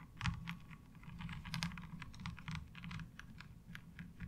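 Long fingernails tap quickly across the ridged surface of a light blue ribbed plastic laundry washboard. The result is a rapid, uneven patter of short, bright clicks, each dying out almost at once, over a steady low hum.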